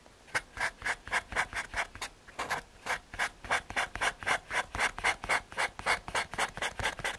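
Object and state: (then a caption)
Paper blending stump rubbed on drawing over MDF board. A paper blending stump rubs back and forth over a graphite drawing on a small, flat, solid brown MDF/hardboard panel. About 28 quick, dry, rasping strokes land roughly four per second, each a short bright scrape centered in the upper mids with almost no low end. The strokes keep a steady, slightly uneven rhythm throughout.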